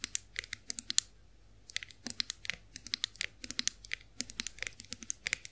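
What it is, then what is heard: Chrome face roller. Long fingernails tap the handle and ridged rollers of a chrome-finished face roller held in the hands. The result is a rapid, irregular run of crisp, bright clicks with almost no ring, broken by a short pause near the one-second mark.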